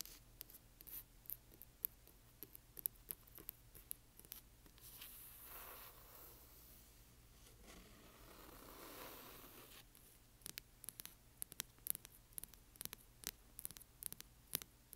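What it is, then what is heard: Hardcover book. Long nails tap and scratch along the spine and cover edges of a large hardcover book with a glossy cover. Quick, sharp, bright taps come first, then a few seconds of steady, soft scratching and rubbing, and then the tapping resumes. The sound is quiet and close, with crisp clicks and no ring after each tap.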